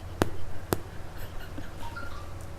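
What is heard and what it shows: Two sharp, hollow flicks on the bottom of a freshly baked Korean cream cheese garlic bread loaf, knocked close to the mic, each dying away almost at once over a steady low hum. The hollow, empty sound shows the loaf is fully cooked; a dull sound would mean it is not yet done.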